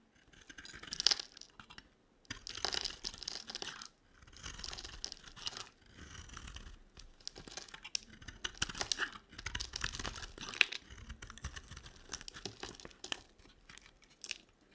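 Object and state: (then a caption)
Dry soap bar being carved. A hand-sized rectangular bar of dry white and pink soap with a silver-edged top is held in one hand while a small metal blade scrapes and carves flakes from its stamped surface. Bursts of dry, crisp scraping and crunching, bright and high in tone, come in uneven strokes separated by brief pauses.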